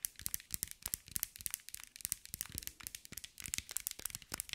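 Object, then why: Mosaic ball covered in small glass tiles. A hand-sized round ball covered in small green mirror-glass mosaic tiles, likely hollow, is tapped and scratched with long white nails. It makes a rapid, uneven run of sharp, bright clicks and crinkly scratches that stop instantly with no ring, over a faint, quiet background.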